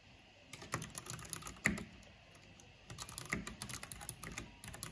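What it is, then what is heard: Plastic mechanical keyboard being typed on. Fingertips and long painted nails type fast on a full-size black plastic mechanical computer keyboard with a purple backlight, pressing and tapping the keys. Quick, bright clicks and clacks come in two bursts separated by a short quiet pause, with one sharper, louder clack standing out in the first burst.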